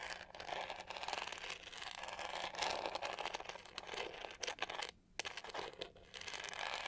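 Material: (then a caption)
Plastic. Long nails scratch across the pink-to-gold studded, pyramid-textured back of a hollow, hand-sized plastic detangling hair brush with black bristles. The result is a dense, bright, crinkly rasp of rapid ticks that runs almost continuously, with a brief dip into quiet around the five-second mark before the scratching resumes.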